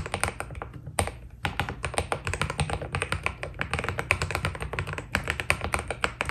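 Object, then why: Mechanical keyboard with plastic keycaps. Fast typing with both hands' fingertips on a white Keydous NJ80 mechanical keyboard, a solid desk-size board with a steel plate and foam dampening, fitted with white Cherry-profile PBT keycaps. The key presses come in rapid, dense clusters of short, crisp clacks with a low thock underneath and bright tops, pausing briefly about a second in.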